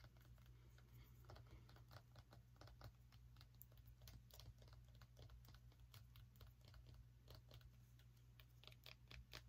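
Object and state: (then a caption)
Small pumpkin. Fingernails tap quickly on a small orange pumpkin with a stem, making a rapid run of short, dry clicks with bright edges. A steady low hum sits underneath throughout, and the whole clip stays quiet.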